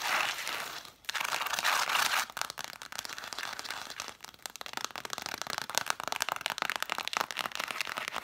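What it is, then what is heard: Cloth-bound hardcover books. Long dark nails scratch and fast-tap the spines of a solid stack of red cloth-covered vintage hardcover books set spines forward. A bright, dry scratching rasp fills the first two seconds with a brief pause, then gives way to rapid, crisp tapping clicks mixed with scratches that stop dead with no ring.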